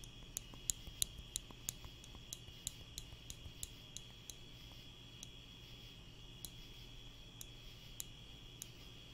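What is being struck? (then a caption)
Wooden spring clothespin. A small wooden spring clothespin is held in the fingers close to the microphone and snapped open and shut. It gives about 19 short, dry, bright clicks at an uneven pace over a quiet background with a steady faint high tone and low hum.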